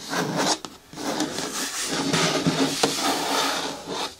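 Long nails tap and rub along the side walls of a green hard plastic bin with a lid. The result is a steady, dry scratching rasp with a bright edge. A couple of brief pauses and a sharper tap stand out near the end.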